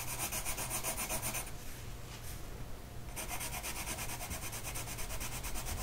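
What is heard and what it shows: A blue colored pencil tip is rubbed back and forth across a flat printed mandala coloring sheet lying on a table, held in place by one hand. Quick, rhythmic, bright scratchy strokes fill the clip, easing into a softer, duller stretch in the middle before the brisk scratching resumes.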